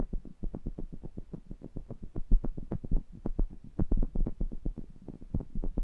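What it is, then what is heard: Metal condenser microphone grille being tapped. Fingertips rub and tap the metal mesh grilles of two small metal pencil condenser microphones, heard up close. The result is a rapid, steady run of some forty dull, booming thumps, almost entirely low-end around 82 Hz, each dying away at once with a faint low rumble between them.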